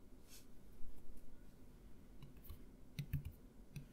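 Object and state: Plastic mouthwash bottle.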